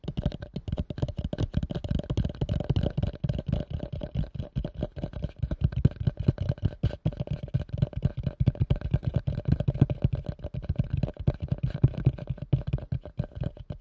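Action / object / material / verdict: tap / plastic bowl / plastic / none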